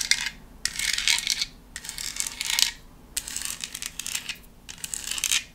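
Long acrylic nails tap and scratch a hollow, hand-sized black decorative foam pumpkin printed with a white spiderweb pattern. Five bursts of bright, crackly scratching are separated by short quiet pauses, with almost no low end.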